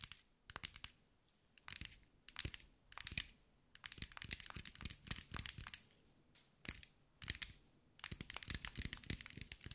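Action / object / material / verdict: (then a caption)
tap / mirror-glass mosaic ball / glass / none. A hand-sized green mirror and glass mosaic ball is tapped and scratched with long white nails. Short clusters of bright, crisp clicks and scratchy crackles come in bursts, separated by brief quiet gaps. Each tap dies away almost instantly.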